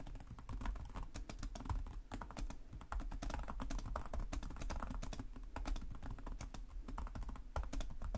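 Both hands type rapidly with the fingertips (short nails) on the plastic chiclet keys of a black laptop resting on a desk. A steady stream of short, dry key taps carries a soft low thump beneath brief bright clicks, continuing for the whole clip with no pauses.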